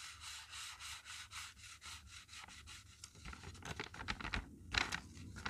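A folded blue-and-red checkered paper strip, held in both hands like a polishing cloth, is rubbed back and forth across a flat drawn paper shoe with thin paper pop-up straps on a spiral graph-paper notebook page. Soft, bright, hissy paper-on-paper swishes come in a steady rhythm of strokes, then turn into quicker, scratchier rubs with crisp crinkles toward the end.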